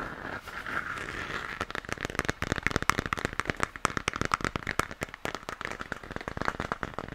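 Fingertips and nails rapidly tap and scratch the surface of a hollow, textured plastic moon lamp that is lit pink. A soft scratching hiss, centered around 1.2 kHz, gives way after about a second and a half to a dense run of crisp, dry clicks. Each click stops almost instantly with no ring.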